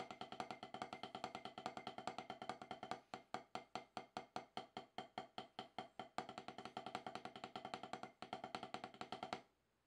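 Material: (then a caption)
Gum rubber. Two wooden drumsticks with wooden tips play rapid taps and rolls on an octagonal HQ snare practice pad, about 12 inches, with a dark gum rubber surface on a solid base, resting on a lap on grey cloth. Dense, dry rolls give way to a stretch of slower, evenly spaced strokes, then pick up into fast rolls again. Each stroke is a short, woody knock centered around 750 Hz with almost no ring, and the playing stops just before the end.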